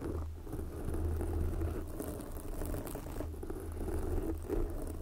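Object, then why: Foam microphone windscreen. Long glossy black fingernails on both hands scratch a soft, porous red foam windscreen covering a microphone. The result is a dense, continuous low rustling and crackling pattering with a deep rumble underneath, steady in level and without separate distinct hits.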